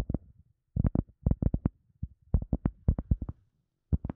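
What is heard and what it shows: A round, solid, hand-sized teal EVA foam sponge disc is held close to the microphone and tapped and scratched with long fingernails and fingertips. It gives quick, dull, low-pitched thuds with almost no ring, falling in bursts of rapid taps separated by short pauses.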